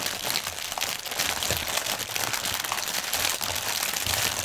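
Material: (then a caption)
Plastic film. Hands crinkle and press a clear, hollow, inflated plastic air pillow packaging strip with fingertips and nails. The result is a dense, continuous, bright crinkling with crisp crackles at a fairly steady level and very little low end.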